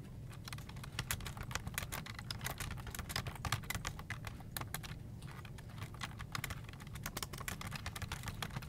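Fingertips type steadily on a full-size black plastic desktop keyboard with hollow keycaps. The key presses make quick, bright, clicky taps that die away almost instantly, over a constant low hum.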